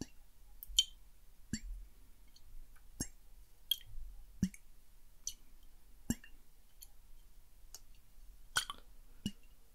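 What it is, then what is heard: Glass water bottle, tapped. Fingertips tap and click on a small clear glass bottle with a silver cap, partly filled with water and held in one hand near the microphone. The taps come as a series of short, bright clicks, each with a soft low thump. Because the bottle is tilted as it is tapped, brief rising, gurgling swoops from the water moving inside follow several of the clicks, all against a quiet background.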